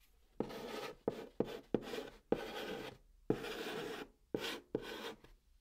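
Fingers press a white chalk stick against the top of a flat brown cardboard box, writing Korean text. A series of short, dry, scratchy chalk strokes rasp across the cardboard, each starting with a sharp tick and separated by brief silences.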